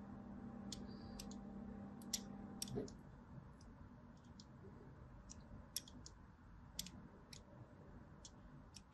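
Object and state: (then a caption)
Bar soap being scored with a blade. A blade scores lines along the lower edge of a solid white bar soap with a striped surface, scratching and cutting into it. Short, sharp, bright clicks and ticks come at an irregular pace over a quiet background, with a low steady hum during the first few seconds that stops abruptly.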